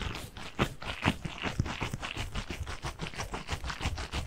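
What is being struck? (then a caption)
Gel bead stress ball with mesh skin. A hand-sized soft squishy stress ball, filled with blue water gel beads pressing through a mesh skin, is squeezed and rubbed with the fingers close to the mic. It makes a continuous run of soft, squelchy crackles and scratchy rubbing, with repeated short bursts and a muffled, bass-heavy body.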